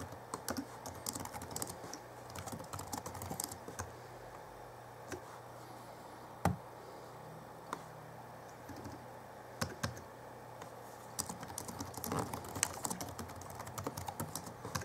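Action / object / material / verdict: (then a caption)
tap / plastic laptop keyboard / plastic / none. Fingertips of both hands type continuously on the backlit plastic keyboard of a 2011 Alienware M11x R2 laptop. Quick, light key taps come in dense bursts with brief pauses, each click short and bright with almost no ring. A faint steady low hum sits underneath.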